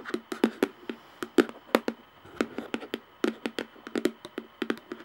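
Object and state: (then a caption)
Plastic jar lid. Long nails tap on the top of a round plastic screw lid of a jar in quick, irregular bursts. Each tap is a dry, bright click with a hollow plastic tone around 500 Hz that dies away almost instantly.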